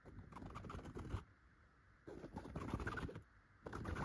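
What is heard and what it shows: Long gold metal claw nail covers scratch across a yellow tufted chenille fabric pillow. Three bursts of dense, rough, crackly scratching are heard, heaviest in the low end, separated by brief near-silent pauses.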